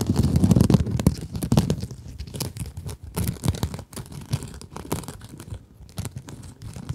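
Long acrylic nails scratch a small pink scrub sponge with a glittery mesh cover, giving rapid, uneven crinkling and tearing scratches at roughly four strokes per second. The sound is dull and low-heavy, loudest in the first second or so, then settles into softer, irregular scratching.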